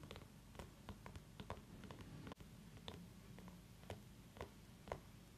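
A small orange mini pumpkin is held in one hand while the long nails of the other hand tap and scratch its rind, with an essential-oil diffuser running nearby. Quiet, irregular clicky taps and scratches sound over a low, steady hum, with a brief dropout just after the midpoint.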